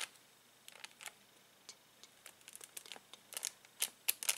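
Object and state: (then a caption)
Crinkling cellophane bag of plastic toy balls. Fingertips press spiky plastic Bunchems toy balls through a clear cellophane bag, crinkling the plastic. It is a quiet, irregular string of short, sharp, bright crinkles with no low end, growing busier and louder toward the end.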